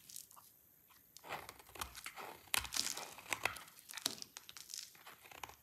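A solid red soap bar is scraped and chipped with a utility knife blade, making dry, crisp scraping and crunching sounds. The sound is mostly bright and high with very little low end. Short chips come in quick irregular bursts after a quieter opening second.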